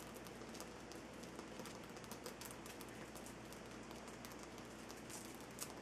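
Fingertips and nails of both hands tap and scratch the rough sides of a large, solid, lit Himalayan salt rock lamp on a dark base. The result is a quiet, steady, dense patter of soft taps and gritty scratches with bright, crisp clicks scattered throughout, much like light rain on a surface.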